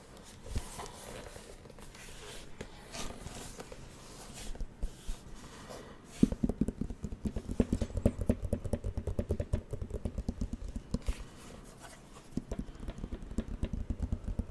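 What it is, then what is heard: Plastic drawing pad. Fingertips tap rapidly on the screen of a plastic light-up drawing pad with a flat, hollow plastic body, held in one hand. Soft, scattered taps in the first six seconds give way to a dense run of quick, dry, hollow knocks with a low thudding body and almost no ring.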